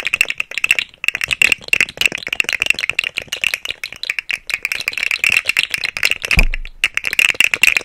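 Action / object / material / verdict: shake / segmented plastic slug toy / plastic / none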